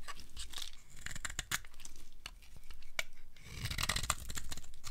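A metal blade scrapes along the surface of a solid, dry green soap bar, shaving off crumbly curls. Repeated crisp, crunchy scraping strokes with bright tearing crackles sound over a low, soft rumble.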